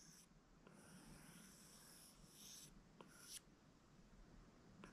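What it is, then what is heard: Glass tablet touchscreen under a stylus. A plastic stylus held in the fingers draws wavy strokes across the glass touchscreen of an iPad, a flat solid device. Its tip scrapes with a quiet, bright, hissing rasp, broken by three short, sharp taps on the glass.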